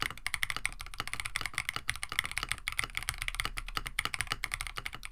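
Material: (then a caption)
Plastic. A compact KBD67 Lite mechanical keyboard with a plastic case, FR4 plate, PBT plastic keycaps and lubed Oolong switches is typed on with the fingertips of both hands while it rests on a desk mat. About 28 short, crisp keystrokes come in a quick, uneven stream, each a bright clack centered near 2 kHz over a soft low thump. Every stroke dies away almost instantly.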